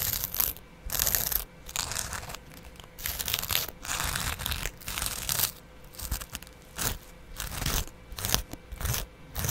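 A small double-edge razor blade held in the fingers repeatedly scratches and scrapes the green abrasive side of a dry kitchen sponge, a green scouring pad on yellow foam, held close to the microphone. Bright, crunchy, tearing rasps come in uneven bursts separated by short quieter gaps.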